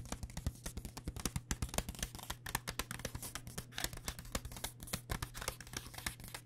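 Long dark-painted nails tap rapidly and steadily on a full blue plastic pouch of pad thai rice noodles held upright, making quick, crisp crinkly clicks with a bright edge. Each tap dies away almost instantly, over a faint steady low hum.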